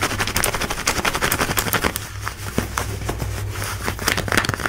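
Long nails scratch fast over light blue denim jeans worn on the hip, across the pocket and rivet. The result is a rapid run of dry, crackly rasps with bright edges, each one stopping short. A steady low hum sits underneath.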